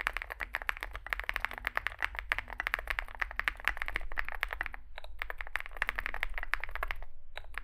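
Both hands type continuously with their fingertips on a compact 65% Zoom65 mechanical keyboard, which has an aluminium case, foam filling, lubed switches and SA plastic keycaps and rests on a desk mat. Rapid, dense keystrokes produce short, crisp clacks with a bright midrange, over a steady low rumble. There is a brief pause near the five-second mark before the typing resumes.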